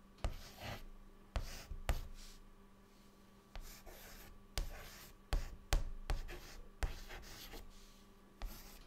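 A white chalk stick held in the fingertips writes words on a large, flat, dark, solid chalkboard. Ten separate sharp taps of the chalk meeting the board are each followed by a soft, bright scratching stroke. A faint steady low hum stays underneath throughout.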